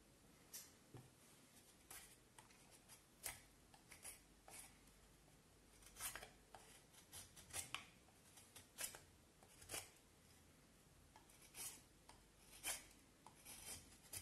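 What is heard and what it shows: A knife shaves and scrapes along the surface of a solid pale vine wood handle blank held in both hands. Quiet, bright, dry scraping strokes come in short bursts with little low end and almost no ring, spread irregularly across the clip.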